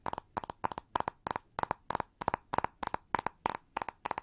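Long nails tap and scratch the frame, metal pins and back of a pink plastic paddle brush held sideways. The result is sharp, dry clicks in quick clusters of two or three that repeat steadily, bright and thin with a tone near 1 kHz and hardly any ring.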